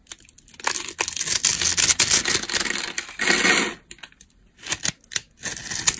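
A utility knife blade scrapes and carves a solid, rectangular bar of dry beige soap with a grid pattern, held in the hand. It makes crisp, bright, crunchy scraping bursts with almost no low end, coming in dense runs broken by short quiet pauses.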